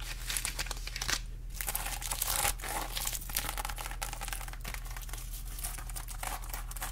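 A whole pineapple is held close to the microphone while long nails scratch along its rind. The result is a dense, continuous crinkling scratch with bright, crisp texture over a steady low hum, with brief pauses and renewed strokes throughout.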